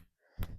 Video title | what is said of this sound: Replacing the PCV valve on 302 V8 Small Block Ford- 1968 Mustang | hear it just doesn't shake it as much